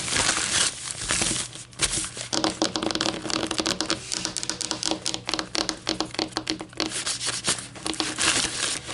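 A single thin, light, flexible white paper coffee filter is held up and crinkled, then laid flat on a table, where long polished nails and fingertips tap and scratch it. Bright, dry crinkling gives way to a dense run of quick, sharp taps and scratchy rustles with almost no low end. A faint steady hum sits under the papery clicks.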